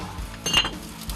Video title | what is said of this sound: 한국인들도 잘 모르는 한국에만 있는 특별한 기술｜10대 때부터 연마한 기술로 지금까지 대를 이어 유지하는 가업ㅣ왕실에서 쓰던 푸레도기 은주전자｜극한직업｜#골라듄다큐 | 종을 두드리듯 맑은 소리가 나는 것이 특징입니다